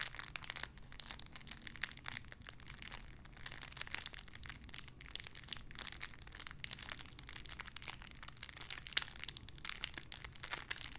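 A small clear plastic bag holding a pink paw squishy toy is crinkled and squished with fingertips. Dense, bright crinkling and crackling continues steadily for the whole clip, over a faint low background hum.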